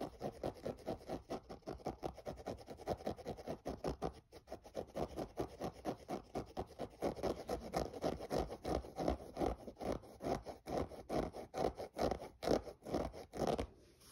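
Fingernails scratch quickly across the mesh upper near the laces of a hollow, empty grey synthetic mesh running shoe. The result is a rapid, steady run of short, dry scratching strokes, full in the low midrange with a faint hiss on top, each stroke dying away almost at once.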